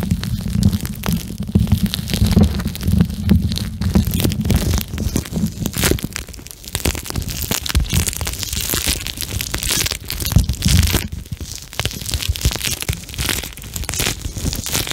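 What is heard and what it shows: A pink gel bead plastic eye mask is squeezed against the microphone, giving a dense, boomy low rumble for about six seconds. It is then held and squished in both hands above the mic, producing continuous crackly, squelching crunches with bright plastic textures.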